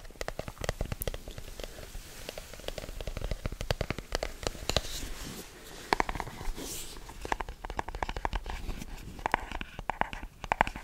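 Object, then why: Rigid cardboard box. Fingertips tap and scratch quickly on a hand-sized, hollow, black rigid cardboard product box. Dense, dry, clicky taps sound over a soft scratchy rustle with a hollow low thump. The taps stop sharply, and a few louder knocks stand out toward the end.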